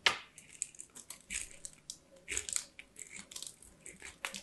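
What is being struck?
Soap bar on a steel grater.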